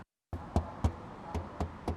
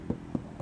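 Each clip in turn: First: untreated car body panel, hollow. Second: car body panel with sound-deadening, damped.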